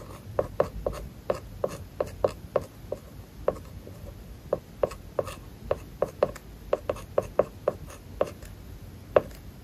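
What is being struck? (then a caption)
Plastic stylus on matte plastic film over tablet glass. A plastic stylus held in the fingers scratches short strokes across a matte, paper-like plastic film over an iPad's glass screen while writing kanji. About 28 quick, dry taps and scrapes come in uneven bursts, each with a brief, bright scratchy edge, a slight tone near 590 Hz and almost no ring. The strokes sit over a quiet, low hiss.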